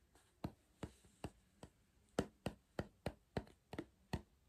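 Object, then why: Cardboard crisp tube. Fingers tap and knock on a cardboard crisp tube, making twelve separate, quiet hits. Each is a short, dull, hollow knock with a low body and a faint low tone that dies away almost at once.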